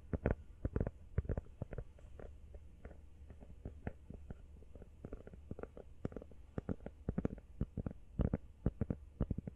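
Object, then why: Rubber phone case. Fast tapping on a rubber iPhone case produces a rapid, irregular stream of dull, low thuds that stop almost instantly. The sound is muffled and bass-heavy, with no bright ring.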